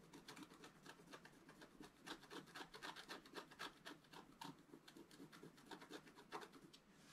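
A wooden stylus scratches a flat, black-coated scratch art card resting on a table, filling in coral shapes. Quick, uneven strokes give a dry, bright rasp, roughly four scratches a second, with little low end and short, crisp bursts that stop without ringing.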